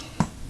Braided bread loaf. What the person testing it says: when you tap on it with a spoon it does have a hollow sound to it